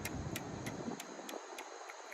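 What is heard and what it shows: Glasses are tapped in a steady series of light, bright clicks, evenly spaced about a third of a second apart. Beneath them, a low rumbling background fades away partway through, leaving the taps over a faint steady hiss.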